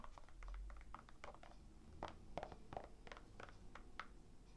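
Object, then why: Rhinestone-covered toe of a slip-on sneaker. Long nails scratch across the rhinestone-covered toe of a hollow, empty black slip-on sneaker held in one hand; the shoe has a black suede-like fabric heel and a white rubber sole. Quiet, rapid, short scratchy clicks and ticks sound in the midrange, with little low or bright content.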